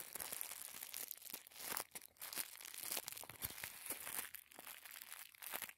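Fingertips squeeze and crinkle a small folded packet of thin white tissue paper. It makes a quiet, continuous, bright crackling with papery tearing-like bursts and almost no low end. The sound swells and fades as the paper is pressed and released.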